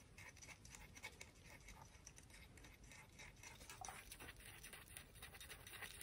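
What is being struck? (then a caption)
Conch shell. A conch shell is tapped and scratched, giving a quiet, steady stream of fast, dry clicks and raspy scraping. The sound is bright, with a faint hum underneath and many small taps that blur together without a clear pause.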